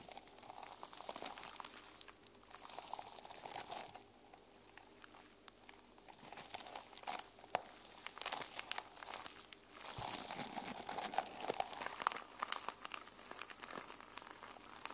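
Long nails scratch across the plastic flip-sequin cover of a sequin-covered journal held in the hands. The result is a dense, irregular, crinkly rasp full of bright clicks and ticks as the sequins flip, swelling and easing in loudness throughout.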